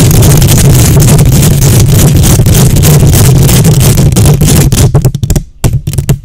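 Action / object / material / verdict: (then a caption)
scrape / metal mesh microphone grille / metal mesh / none. Long nails scratch the hollow metal mesh grille of a silver condenser microphone, using one or both hands. The result is a loud, dense, continuous scraping roar dominated by a deep low rumble. Near the end it breaks into short choppy bursts separated by brief near-silences.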